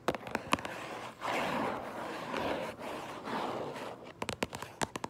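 Long purple acrylic nails tap and scratch the front of a medium Minecraft Lego set box made of hollow cardboard, likely full of bricks. Sharp, quick clicking taps open the clip, then give way to a steady, bright scratching rasp in several strokes. A new burst of crisp taps closes it.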